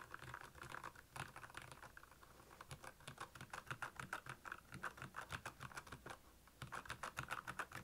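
Fingertips of both hands type on the keycaps of a black, backlit Royal Kludge plastic mechanical keyboard. The result is a fast, uneven patter of crisp plastic clacks with bright tops and very short decay. It comes in bursts separated by brief lulls.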